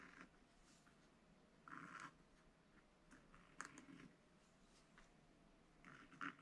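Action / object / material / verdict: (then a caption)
scrape / black-coated scratch paper page and wooden stylus / coated paper / none. A pointed wooden stylus held in the fingers scratches short strokes for a chick's face into a thin, solid black-coated rainbow paper sheet in a spiral-bound scratch book lying open flat. Quiet, dry, raspy scratches come in brief bursts over a faint steady background, with a few louder strokes standing out.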